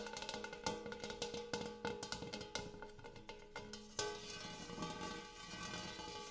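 A large metal bowl used as a coffee table is tapped repeatedly, giving quick, sharp strikes with a ringing, cowbell-like metallic tone around 880 Hz and bright overtones. The taps come in an uneven stream, then a harder strike near the end leaves a longer, shimmering ring.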